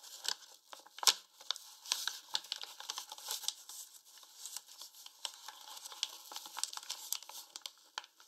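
A medium paper flour bag, partly full and standing upright on a wooden table, has its top folded and crinkled closed by the fingertips of both hands. Dense, bright paper crinkles and crackles come in quick bursts with no low end, and a sharp, louder crack stands out near the first second.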